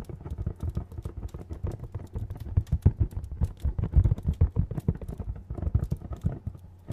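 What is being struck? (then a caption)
Cardboard box. A medium, hollow printed cardboard retail box is tapped with fingernails close to the mic in a rapid, uneven stream of taps. Each tap lands as a short, dull, deep thud with a boomy low body and almost no ring, the taps rising and falling in loudness over the seven seconds.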